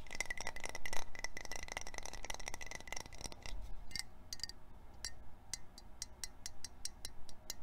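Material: Metal.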